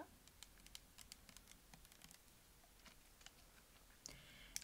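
A medium-size clear plastic Garnier micellar water bottle with a pink cap, partly filled with liquid, is held in one hand and tapped and clicked with long decorated acrylic nails. It makes a quiet, steady patter of short, bright clicks that die away at once over a soft low hiss. A few louder, sharper taps land near the end.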